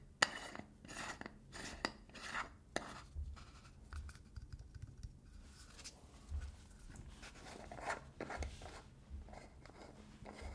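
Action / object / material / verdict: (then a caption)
scrape / small metal screw lid of a tin / metal / none. Fingertips and nails scratch and rub the blue metal screw lid of a small cylindrical got2b hair product tin held in one hand, moving over the lid and its ridged edge. A quiet series of bright, dry rasping strokes and short clicky ticks follows, with faint low thumps from the handling and almost no ring after each touch.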